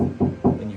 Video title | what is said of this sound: The Most UNDERRATED Mod For Your Car - Rattling Speaker Resolved | you can hear how hollow it is when you knock on it